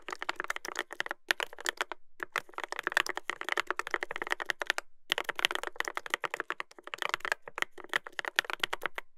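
Fingertips type continuously on a Dolphin 2021 mechanical keyboard with a brass plate and plastic keycaps. The result is a rapid stream of sharp, dry clicks centered around 2 kHz with a bright top, broken by a few brief pauses. There is almost no ring and little low end.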